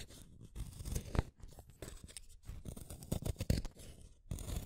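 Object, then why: Wooden colored pencil in a hand sharpener. A pink wooden colored pencil is turned in the metal blade of a yellow plastic hand sharpener, making a scraping cut. Soft, low-heavy crunchy scraping comes in uneven bursts with brief pauses, and a few louder crackles stand out.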